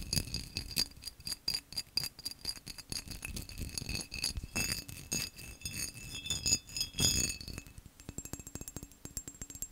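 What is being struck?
Textured glass vase.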